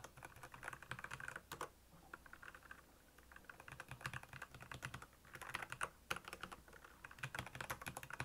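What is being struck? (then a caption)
Plastic mechanical keyboard. Fingertips of both hands type on a black plastic Royal Kludge mechanical keyboard with backlit keys. Rapid, crisp key clacks with a bright click and a short, dry decay come in quick bursts, with a brief lull in the middle before the typing picks up again.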